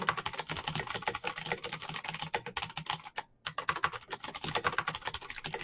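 Fingertips type rapidly on a black plastic mechanical keyboard with clicky switches and backlit keys. The result is a fast, dense stream of sharp, bright clicks with a brief pause just past the midpoint before the typing resumes.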